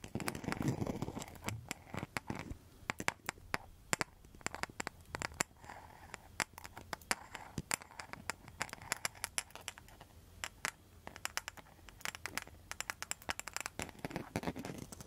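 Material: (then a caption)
Rattan, tile. Long metal nail tips scratch and tap across a round coaster with a rattan rim and a mosaic surface. The result is a quiet, dense run of sharp, bright clicks and scraping ticks over faint scratching, with a brief low rustle at the start.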